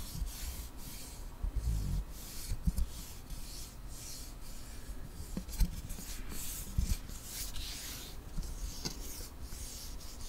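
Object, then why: Wooden ruler. A long, flat, solid light-wood ruler is held close to the microphone while fingertips and nails rub along its length. The result is a soft, continuous dry rasping and scratching with a bright, airy hiss, broken by a few light low knocks.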